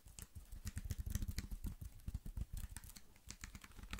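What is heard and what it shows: A slim black plastic computer keyboard, held in both hands, is tapped and typed on quickly with the fingertips. The result is a dense, rapid clatter of short, dry key taps, each with a low thump and a bright click, fluctuating in loudness throughout.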